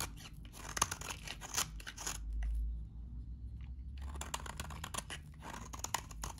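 A metal utility blade cuts crunchy shavings from a solid, very dry salmon-orange bar of soap. Dense, dry crunching and scraping crackles through the clip with bright, crisp edges, pausing briefly near the middle under a low hum before the cutting resumes.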